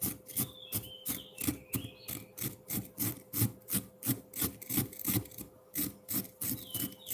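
Metal fork tines saw and scrape back and forth across the surface of a solid frozen pineapple milk ice block. The result is a steady run of rough, rasping strokes, about three per second, with low crunchy grit and a bright hiss on each pass. Faint squeaky chirps and a constant low hum sit underneath.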